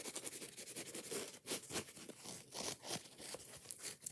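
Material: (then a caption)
Foam. Long fingernails scratch fast and hard across the yellow foam side of a foam kitchen sponge with a scouring pad while the sponge is squeezed in a hand. The result is a dense run of bright, crackly scratching and scraping bursts with quick tapping, steady in level and with almost no low end.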